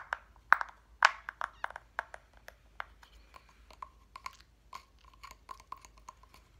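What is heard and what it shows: Fingernails tap on a flat cut-out reindeer decoration made of solid light wood, with small wooden number blocks. A quick, uneven run of sharp, dry clicks and taps, the loudest near the start, settles into softer ticks carrying a faint thin tone around 1 kHz. Each tap dies away almost instantly, with no deep low end.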